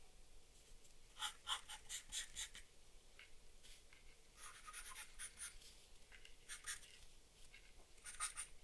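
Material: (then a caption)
Paper. A black charcoal or graphite pencil held in the hand strokes and scratches across a flat sheet of drawing paper bearing a charcoal portrait, lying on a wooden desk. Quiet, dry, bright scratching comes in short bursts of strokes over a soft steady hiss, with no talking.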